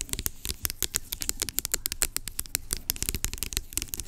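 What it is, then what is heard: Plastic pump lotion bottle. Long nails rapidly tap and scratch along the body of a large blue-labelled plastic pump lotion bottle lying on its side, hollow and partly filled. Dozens of quick, dry clicks and scrapes run close together, bright and crisp with a faint hollow low thump beneath them and almost no ring.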